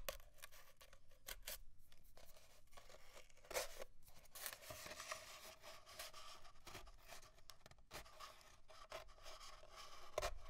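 Fingernails scratch and rub the surface of an empty, hollow, long cardboard paper towel tube with small bits of paper residue still stuck to it, and the tube is briefly lifted. Quiet, continuous dry scratching and rasping fills the clip, with a hollow mid-range resonance and brief louder scrapes near 3.5 and 10 seconds.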